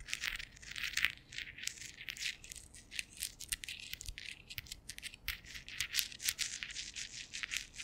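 Fingers wearing metal thimbles tap and scratch directly on the domed woven-metal grille of a large condenser microphone. A dense, continuous stream of sharp, bright metallic clicks and rasping scrapes, almost all high-pitched with very little low end. Each tap dies away almost instantly, with louder bursts standing out from the steady scratching.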